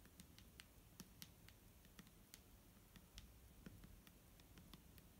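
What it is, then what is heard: Plastic bottle of liquid tapped. A clear plastic micellar water bottle filled with liquid is tapped with fingertips and nails. The result is a quiet, uneven series of short, sharp clicks, each with a bright tick over a dull, low thud. The taps stop almost instantly, with very little ring.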